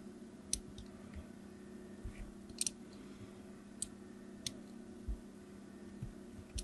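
A craft knife blade scores diagonal lines into the surface of a solid, opaque, palm-sized yellow hard soap bar held on a table, with a green soap bar sitting idle nearby. Each repeated scratching cut makes a brief, crisp, high click that stops almost at once. The cuts come at irregular intervals over a quiet, steady low hum.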